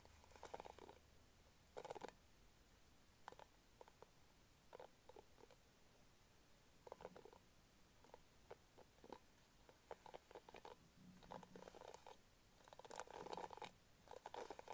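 Fingernails scratch and rake the pink plastic bristles of an orange-handled hairbrush held close, making quiet, dry, crackly bursts with a bright edge. The irregular flurries come in short clusters separated by brief near-silent gaps.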